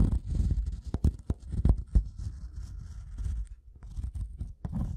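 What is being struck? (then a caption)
Wooden block scratched with a metal tool tip. The metal prong tip of a pink-handled tool taps and scratches across the top surface of a solid, light-colored wooden block or plank. Sharp, dull knocks cut through a steady low scraping and rasping, each tap dying away almost at once. The sound stays close and mostly deep, with little brightness.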